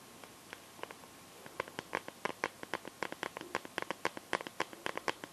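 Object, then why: Phone in a clear plastic case filled with liquid and glitter. Fingernails tap and scratch the back of a smartphone in a clear plastic case filled with liquid glitter. About 27 quick, dry, clicky taps start sparse and grow denser over the clip, each ending almost instantly with a bright plasticky tick and almost no low end. Soft scratching fills the gaps at a quiet level.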